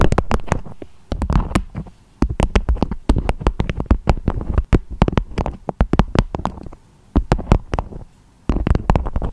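Long acrylic nails tap and scratch on a beeswax-coated fabric food wrap with a strawberry print, shaped into a dome. Rapid bursts of short, dull taps with a deep, hollow thump and faint crinkly scratching come in clusters separated by brief pauses. Each tap dies away almost instantly.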